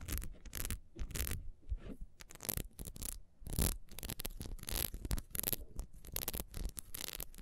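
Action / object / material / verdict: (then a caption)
scrape / ribbed beeswax candle / beeswax / none. A solid ribbed beeswax candle, first lying on its side and then held, is scratched quickly with long nails. The result is a run of short, dry scraping bursts with bright, hissy edges over a deep, rumbling low end, with brief quiet gaps between strokes.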